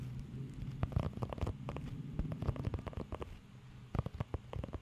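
Fingertips and nails scratch over the nubs of a blue rubber pet hair grooming glove, giving quick, dry crackling ticks and rubbing bursts. A low, rumbling hum sits underneath, and the sound is dark and muffled with little high content.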